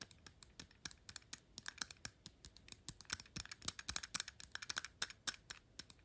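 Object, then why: Metal perfume bottle cap. Long pink nails rapidly tap and scratch the gold-tone metal cap of a perfume bottle, working over its ornamental ring and the top. A quiet, dense run of sharp, bright clicks with almost no ring, interspersed with light scratchy strokes, quickens and thickens in the second half.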